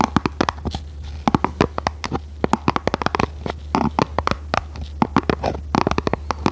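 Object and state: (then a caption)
Printed cardboard box. Long red nails tap and scratch a small, hollow, red printed cardboard product box held horizontally in both hands. A quick, irregular series of dry, hollow clicks and short scratches sits over a steady low hum.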